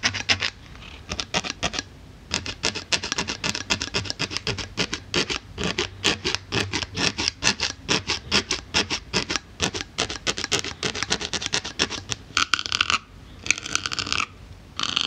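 A needle tool rapidly pokes and scratches the surface of a solid white polyethylene foam block while long-nailed fingers rest on top. The result is a dense run of quick, dry, bright scratchy taps over a faint low hum. Near the end it shifts to longer, smoother scraping strokes with a brighter hiss.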